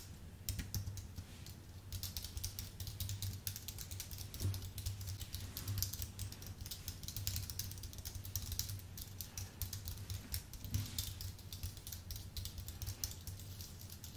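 Fingertips of both hands type continuously on a solid, full-size white Apple Magic Keyboard with numeric keypad, its thin aluminium body fitted with white plastic low-profile keys. Quick, bright clicks and taps come in a dense, uneven stream, each dying away almost at once over a steady low hum.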